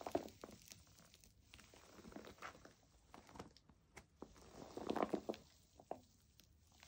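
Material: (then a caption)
Plastic foam. Long nails tap on a white plastic foam bath pillow, then hands squeeze and crinkle its soft padded surface. The result is quiet, soft clicks and crinkly rustles with a mid-range tone, swelling into a denser crinkling burst near the end.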